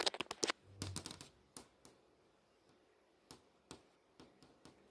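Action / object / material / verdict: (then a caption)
tap / LCD monitor screen tapped with fingernails / plastic / none. Long nails tap and trace over the solid panel of an LCD monitor screen that is showing text. About eleven sharp, bright clicks with almost no ring: a quick burst of taps and a brief scratchy trace at first, then sparser single taps spread out over the rest of the clip.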